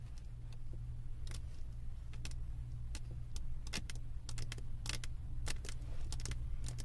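Long acrylic nail tips tap quickly on the resin drills of a flat diamond painting on a canvas board. The taps come through as sharp, bright clicks in irregular bursts over a steady low hum.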